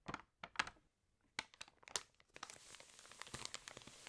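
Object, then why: Glossy paper magazine page. Long nails scratch the glossy paper of an open magazine, then a page corner is crinkled and turned. Sharp, bright clicks and scrapes come first with quiet gaps between them. They give way to a steadier run of crinkling and rustling at the end.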